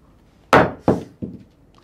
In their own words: original शंख जरी असा पडला आवाज येईल पण शंख फुटणार नाही